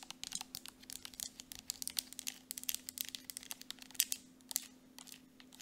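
Long nails rapidly tap and scratch the surface and cap of a partly full Jergens Natural Glow lotion tube made of soft plastic. The result is a fast stream of about thirty crisp, bright clicks and crinkly scrapes over a faint steady low hum.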